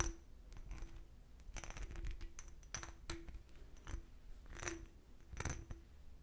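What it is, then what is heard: Cut crystal glass decanter. An empty, clear cut-crystal glass decanter is held sideways and tapped with fingernails. Quick, light taps produce bright clicks and clinks, with short rings and a faint steady tone beneath them.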